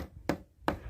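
Two taps of a long screwdriver against a wooden beam give short, dull knocks with a low-mid body that die away almost at once. The section of the beam sounds solid.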